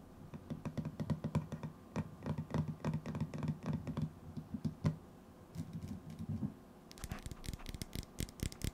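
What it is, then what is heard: Metal tin canister. A hand-sized, hollow cylindrical metal tin with a white lid is held in the hands while fingertips and nails tap and scratch its lid and side. Rapid, soft, hollow taps with a low resonant tone and very short ring patter along. Near the end they give way to sharper, brighter scratching clicks.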